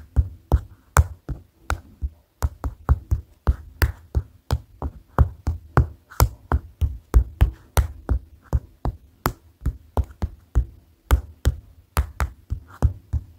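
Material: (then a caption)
Paper. Fingers tap on a paper notepad in a steady, quick rhythm, about 33 separate taps in all. Each tap is a short, dull, low thump that dies away almost instantly, with quiet gaps between them.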